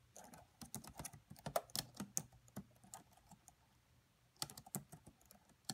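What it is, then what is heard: Plastic laptop keyboard. Fingertips and long white-tipped nails type steadily on the black plastic chiclet keyboard of a red laptop. The quiet, short, bright clicking taps come in an irregular stream, pause briefly, then resume in a short final burst.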